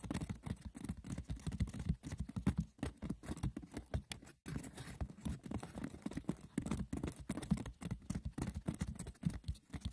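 Fingers roughly scratch and tap the textured woven surface of a wicker basket, with no talking. A dense, continuous patter of light, dry clicks and scratches follows, with most of the energy low around 170 Hz and each tick dying away almost at once. There is a brief gap just before the halfway point.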